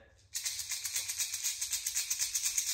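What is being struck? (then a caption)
Plastic lipless crankbait lure with BB rattles. A standard Rat-L-Trap plastic lipless crankbait lure is shaken, its BB rattles (even more BBs than a Strike King lure) producing a bright, high-pitched maraca-like clatter. After a brief quiet start, it settles into a steady, rapid pulsing rattle.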